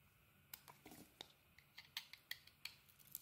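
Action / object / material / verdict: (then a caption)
scrape / bar of soap cut with a metal blade / soap / none. A metal utility blade shaves the edges of a solid red and white bar of soap held in the hand. About a dozen quiet, crisp, bright scrapes and clicks come at an uneven pace, each short and dry with no ring.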